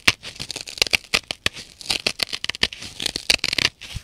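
Long nails scratch back and forth over the rough blue nylon scouring face of a dry, solid, rectangular kitchen sponge. The result is a rapid series of dry, raspy scratching and crackling bursts, bright and high with almost no low end, each cutting off quickly.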